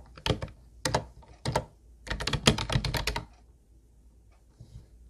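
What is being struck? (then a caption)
Plastic keyboard keys. Both hands type with their fingertips on a hollow teal plastic Ubotie keyboard with round white plastic keys. A few separate bursts of clacky keystrokes come first, then a quick, dense run of hollow, bright clicks with a low thump under each press. The typing then stops, leaving near-silence with a couple of faint taps at the end.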